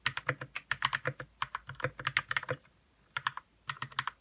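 Fingertips type on a white 60% RK61 mechanical keyboard with plastic keycaps and lubed red switches. About 25 short, crisp keystrokes come in quick bursts, each a dull low thock with a bright clack that dies away at once. A brief pause falls in the middle before typing resumes.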